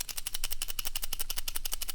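The loose, flimsy release knob on a SmallRig HawkLock 3515 quick-release camera mount is shaken, producing a rapid run of about 15 sharp, bright clicking rattles. The knob is loose and rattles; it feels tight only while the spring is released.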